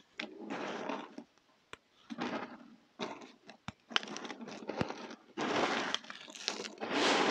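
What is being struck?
Pile of soap chunks and flakes.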